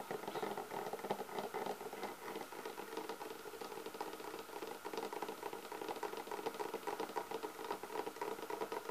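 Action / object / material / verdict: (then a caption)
scrape / leatherette-covered hard clarinet case / leatherette / none. Long nails scratch and tap across the top and then the edges of a closed, hollow black textured leatherette clarinet hard case held against the body. The result is a dense run of soft, quick scratchy ticks and taps with a hollow midrange resonance. The level stays steady and low throughout.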